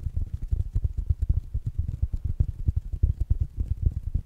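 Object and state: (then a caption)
Fabric-covered smart speaker. Fingertips and nails tap fast on a small, rounded black smart speaker with a fabric mesh cover. It makes a quick, steady run of short, dull, low thumps that die away almost instantly, with faint bright clicks from the nails on top.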